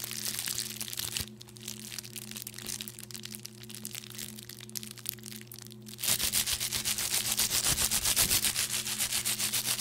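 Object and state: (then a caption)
Plastic bubble wrap being crushed. A small wad of clear plastic bubble wrap, held in one hand, is crushed and popped with the fingers and nails, giving bright, crackly crinkling and sharp pops over a faint steady low hum. The first six seconds are quieter, with scattered snaps; the crushing then turns louder and denser, in quick, fairly regular pulses.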